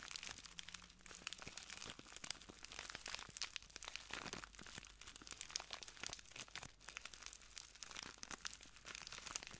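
A small clear plastic bag full of translucent granules is crinkled and squeezed by the fingertips of both hands. It makes a steady, quiet stream of dense, bright crinkling and crunching with many rapid, short crackles and very little low end.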